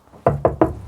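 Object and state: Metal saw housing well damped by a sound-deadening mat.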